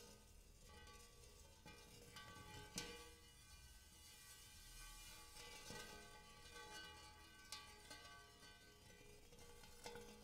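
Fingernails scratch and tap across the dimpled inside of a large, shallow, hollow, empty hammered brass-colored metal bowl. A soft, continuous scratching carries steady metallic ringing overtones, with a low hum near 477 Hz, and four sharper taps stand out with bright, short-lived rings.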